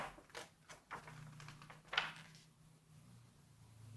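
Fingertips turn a glossy page of a large open September 1986 Vogue magazine and smooth it flat, rubbing the paper. Four soft, bright rustles and swishes build to a crisp papery snap at the turn, then fade into a faint rubbing over a low, steady hum.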